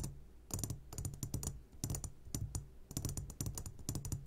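Short fingertips of both hands tap the sides of a medium glass jar, upside down and full of sugared gummy candies. The result is a quick run of light, bright clicks in irregular bursts, each fading fast over a low steady hum.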